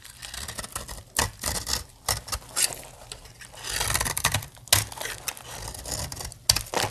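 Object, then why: Soap bar cut with a metal blade. A metal blade cuts brittle plates off a solid, dry blue soap bar. Crisp, bright scraping and crackling come in short bursts with quick dry snaps, with little low end and almost no ring after each cut.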